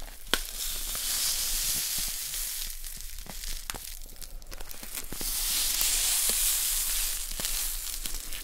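A small, full plastic bag of poppy seeds is held up, tilted and tapped with long nails. The seeds pour and rustle inside with a steady, bright, sizzling hiss, broken by sharp little clicks from the taps.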